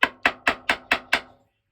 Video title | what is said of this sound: Matteson's PLAIN BASE Gas Check Maker | Hear it change tone? When you smack a nail, you can hear it change tone to be fully seated.